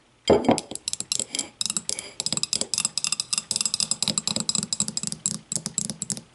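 Long matte nails tap rapidly on the walls and thick base of a small, empty, clear glass whiskey tumbler as it is tilted and then held upside down. About thirty quick, bright clinks follow one another, each with a short ring and a faint low knock beneath, after a louder opening tap.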